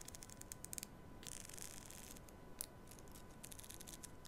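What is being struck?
Plastic comb.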